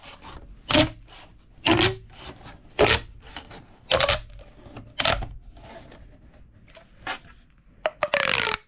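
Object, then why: Corrugated plastic pop tube. A large, hollow, flexible purple corrugated plastic pop tube is held in both hands over a wooden table while fingertips squeeze, twist, stretch and compress the ribbed tube. Bright, ridged rubbing bursts and pops repeat roughly once a second with quieter crinkling between them. A faint tonal whine rides near 400 to 600 Hz, and a longer rasping stretch comes at the end.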